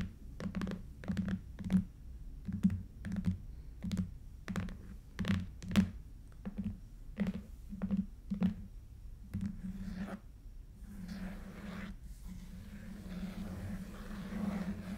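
Long fingernails tap and scratch a long, red, lidded, hollow Stuhrling watch box made of cardboard covered in coated paper, working over the lid top and the ends. An irregular series of quick, hollow, low thunks with sharp clicky edges fills the first ten seconds. It then gives way to a steadier, soft, papery scratching.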